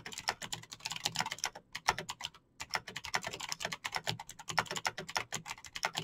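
Fingertips type fast on a Razer BlackWidow backlit plastic mechanical keyboard with clicky green switches. A rapid, steady stream of bright, sharp clicks and taps fills the clip, with brief pauses near the two-second and three-second marks.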